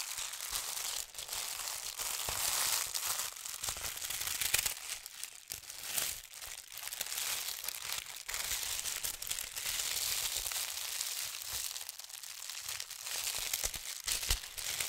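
A thin holly-print tissue paper sheet is folded while fingers and long nails pinch and crease the fold. The result is a steady, bright, high crinkling full of dense, quick crackles with almost no low end.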